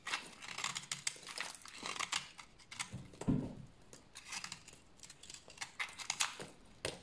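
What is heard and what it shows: A small, pale cream bar of dry solid soap, held in the hand, is shaved and scraped with a utility knife blade into crunchy shavings to use for washing. Quick, bright, crisp scraping strokes rasp one after another, with a duller, deeper scrape near the middle. The blade leaves crunchy soap shavings.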